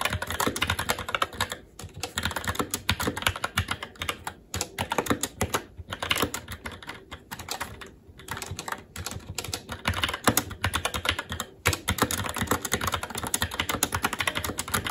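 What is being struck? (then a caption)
Mechanical keyboard, plastic keycaps on metal plate. A SteelSeries Apex 7 TKL mechanical keyboard with red linear switches, black plastic keycaps and an aluminum plate is typed on continuously by the fingertips of both hands. Rapid, dense key taps clack with short, bright attacks and almost no ring. The typing pauses only briefly now and then.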